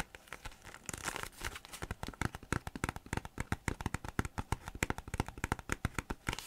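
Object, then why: Thin plastic folder. A thin green plastic folder is held in both hands, bent and flexed while fingers rub the plastic. The result is a dense run of sharp crinkling clicks and crackles over a low rustle, with bursts of hiss.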